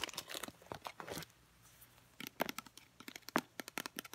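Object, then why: Small plastic squeeze bottle. Long painted nails tap a filled, travel-size Herbal Essences conditioner, a teal plastic squeeze bottle with a black cap. About 22 quick, crisp, dry clicks come in two bursts, separated by a short pause near the middle.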